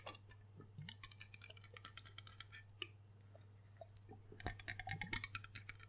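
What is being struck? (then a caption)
Glass liquor bottle. Rapid fingertip and nail tapping on the embossed base and body of a large, hollow, dark glass rum bottle. It makes quick, uneven clicks with short bright rings, over a steady low hum. The tapping grows busier and louder near the end.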